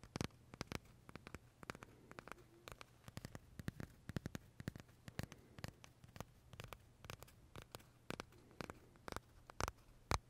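Short fingernails tap and scratch the crisp meringue shell of a large, pale vanilla macaron held close, giving quick, dry, bright clicks with no ring. The taps come in an uneven stream over a faint low hum.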